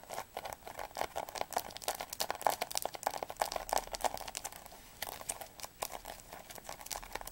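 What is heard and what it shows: Long nails tap quickly on the spine of a blue atlas held horizontally. The result is a rapid stream of dry, clicky taps with a hollow midrange knock and bright edges, with almost no low end or ring. The tapping eases briefly around the five-second mark before picking up again.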